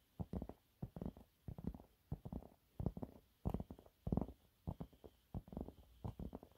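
Fingernails claw and scratch at a thin, flat, yellow textured cellulose sponge cloth. Quiet, irregular bursts of soft, dry rasping scrapes come in quick clusters with brief pauses between them, their tone weighted low and muffled with little brightness.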